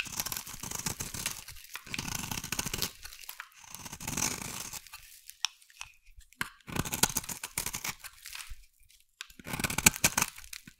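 A hand-sized solid pink bar of soap is scraped along its face with a metal blade. The result is bursts of dry, crunchy, bright scraping, separated by short pauses between strokes.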